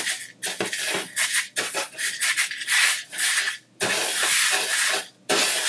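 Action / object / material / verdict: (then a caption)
scrape / coarse sugar crystals / sugar / none. Fingertips rub and drag through a loose pile of coarse colored sanding sugar crystals in blue, green, red and yellow spread on a white tabletop, drawing swirls. The result is a dry, granular, bright scratching hiss that comes in uneven sweeping bursts separated by brief quiet pauses.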